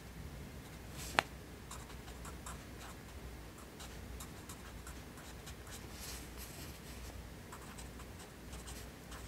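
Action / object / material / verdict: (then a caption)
scrape / graphite pencil on paper notebook page / paper / none. A yellow wooden pencil writes lines of text across an open lined paper notebook on a desk, its graphite tip scratching over the paper. Soft, steady scratching strokes come through as bright, brief bursts over a low background hum. One sharp click stands out near the start.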